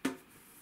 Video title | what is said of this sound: Ouverture du Sarcophage Dorée : la Malédiction (3/3) | Ouais, moi je pensais que j'avais un vrai lingot et tout, mais en fait ça sonne un peu creux